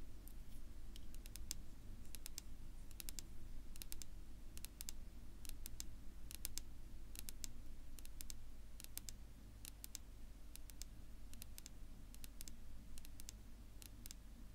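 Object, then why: Wooden tabletop. Long natural nails on one hand tap a flat, solid dark wood-grain tabletop that may be laminate. The result is sharp, bright clicks in quick clusters over a steady low hum, with each click dying away almost at once.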